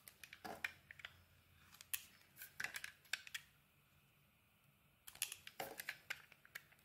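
A utility knife blade shaves slices off a solid green dotted bar of soap with its cream core showing. Quiet, bright, crisp scraping and crackling cuts come in quick bursts, with a short pause in the middle before the shaving resumes.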